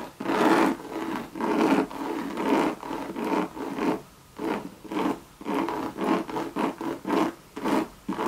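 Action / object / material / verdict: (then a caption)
scrape / coated canvas and leather handbag / coated canvas / none. Long red nails rub and scratch a Louis Vuitton monogram coated canvas bucket bag with a tan leather band. The result is a series of dry, raspy scraping strokes with a midrange body near 340 Hz, coming in irregular bursts separated by brief quiet gaps.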